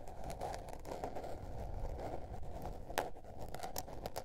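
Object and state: Spiral paper notebook.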